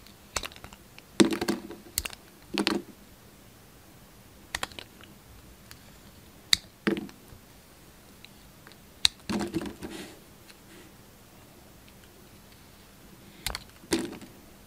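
A hand-sized, solid brown Palmolive soap bar with a white core is held in one hand and cut and scraped with the blade of a yellow utility knife, peeling off shavings. Short, crisp, bright scraping and crackling bursts come in scattered clusters, separated by quiet pauses, with almost no ring after each cut.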